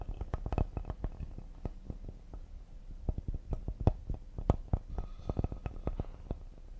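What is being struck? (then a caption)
Cedar wooden serving board. A flat, solid cedar wooden serving board with a handle, held upright, is tapped quickly on its face and edges with fingertips and nails. The result is a rapid, irregular run of soft, dull, low-pitched knocks that die away almost instantly, with little brightness.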